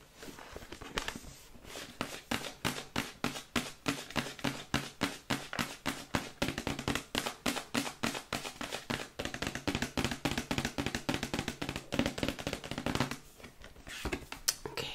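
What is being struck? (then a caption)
Printed cardboard box. Long white acrylic nails rapidly tap and scratch a glossy printed cardboard Yeti microphone box held at a tilt. The sound is a fast, uneven stream of short, dry, hollow clicks with bright scratchy edges, easing into softer scratching near the end.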